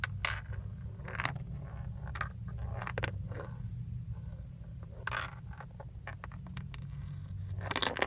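Small metal leaf charms on a thin metal chain are dangled from the fingertips and shaken in front of a steering wheel, so the leaves clink together. Scattered bright, short metallic clinks and jingles sound over a steady low hum, ending in a louder jangle.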